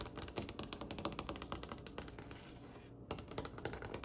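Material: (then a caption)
Wood. Fingernails from both hands rapidly tap a glossy, varnished, solid dark wooden tabletop, producing quick, dry, clicky taps in a dense, uneven patter. The tapping eases into a brief lull before 3 seconds, then resumes with sharper taps until the end.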